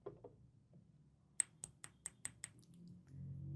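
Fingers tap on the steel case of a wristwatch: two soft knocks are followed by six quick, sharp metallic ticks with a bright, high ping. Each tick dies away almost instantly, and a low background rumble rises at the end.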